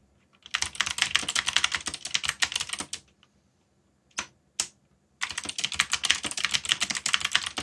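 Fingertips type quickly on the plastic keycaps of a black backlit mechanical keyboard, producing a dense run of bright, sharp clicks that stops after about three seconds. After a pause, two separate keystrokes sound, and then rapid typing resumes until the end.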